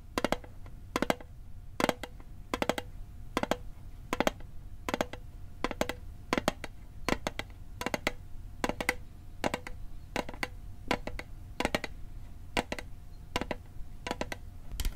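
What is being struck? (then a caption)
Small metal mint tin. Fingernails and fingertips tap and click rapidly on the lid and edges of a small, hollow, rectangular metal mint tin held in the hand. Sharp, bright clicks come in quick pairs and clusters, each dying almost instantly with a faint metallic ring in the midrange. A steady low rumble sits underneath.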